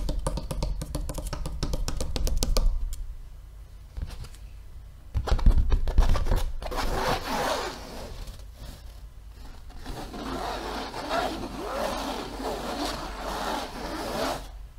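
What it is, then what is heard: Stretched canvas on wooden frame. Fingertips and nails tap and scratch a medium-size blank white cotton canvas stretched over a wooden frame, its drum-like hollow surface giving a low, short thump. Rapid tapping runs for the first few seconds, then comes a pause and a second burst of taps. Steady scratching and scraping across the surface follows until the end.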